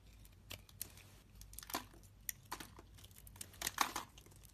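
A solid, translucent green soap bar held in the hand is carved and scraped with a utility-knife blade. Quiet, crisp, crinkly scraping and shaving bursts come in irregular strokes, with bright, dry edges and almost no low end. Each cut stops short with no ring.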